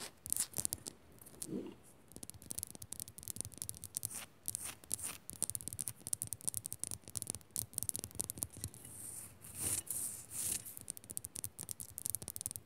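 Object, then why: Rock salt lamp. Fingers scratch and tap quickly on a rock salt lamp. The result is a quiet, dense run of dry, bright scratching with many short, sharp ticks that stop almost instantly, plus some low thumps from the taps.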